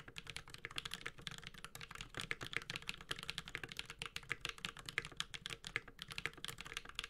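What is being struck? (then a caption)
Mechanical keyboard, plastic keycaps on metal case. A 65% mechanical keyboard with a metal case and ABS plastic keycaps (Space65 Cybervoyager with Holy Panda switches) is typed on continuously with the fingertips of both hands. Quick, bright, clacky key strikes come in a steady stream with very short decay and little low end.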